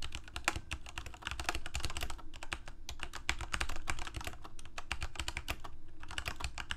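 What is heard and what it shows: Fingertips of both hands type rapidly on a full-size Corsair mechanical keyboard with plastic keycaps on mechanical switches, a hollow plastic case and blue backlighting. A dense, steady stream of sharp, bright clacks rides over a low, hollow thump from the case, with each keystroke dying away almost instantly.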